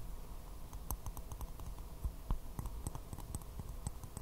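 A small, hollow, empty white porcelain teacup with a floral print is held upside down and tapped quickly with fingernails. The taps are rapid, light, bright clicks that die away almost at once, over a steady low rumble.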